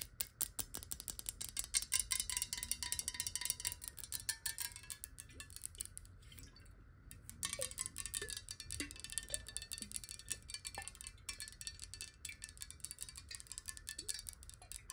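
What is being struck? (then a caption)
Glass water bottle. Long nails tap quickly along the side of a clear glass bottle holding some water, held tilted and horizontal so the water moves inside. The result is a dense stream of bright, short clicks with a faint ringing tone, plus soft sliding gurgles as the water shifts.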